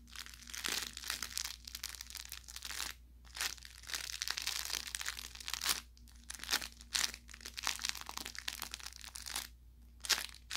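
An orange velour plush carrot cat toy with crinkle filling is squeezed and crushed with the hands. It gives off bursts of bright, dry crinkling and crackling that come and go with short pauses between them. A faint low steady hum runs underneath.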